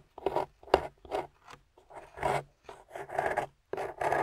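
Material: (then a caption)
Plaster. A small metal spoon pick, held by a hand with long pink nails, scrapes the white plaster top of a solid gold-painted plaster excavation bar. The result is a series of short, dry, raspy scrapes separated by brief pauses. Each scrape is quiet and centred in the mids with some bright grit on top.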